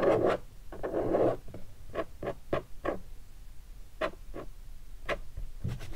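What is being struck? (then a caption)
Leatherette-covered guitar hard case. Fingertips tap on the body area and edge of a hollow guitar hard case covered in black textured leatherette and stickers. Two longer scratchy rubs open the clip, followed by a series of short, hollow, mid-pitched knocks at an uneven pace. A brief rub closes it.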